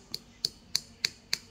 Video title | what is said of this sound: cara membedakan geliga landak asli dan palsu (part 1) | yang palsu itu sangat keras dia kulitnya itu sangat keras sekali kalau diketuk